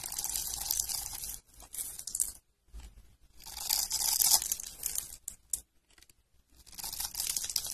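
A metal utility-knife blade scrapes across the pre-cut grid of a solid, palm-sized, blue-and-white striped dry soap bar held in the hands. Bright, dense crunching and crackling comes in bursts separated by short pauses as a cascade of small cubes breaks away. The sound is almost entirely high-pitched, with very little low end.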